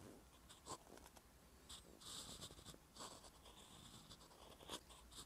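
A metal fountain pen nib is drawn across a flat, solid page of a spiral-bound paper notebook resting on a surface, writing Korean letters in brown ink. It makes a steady, bright scratching with short stroke bursts and brief pauses between them.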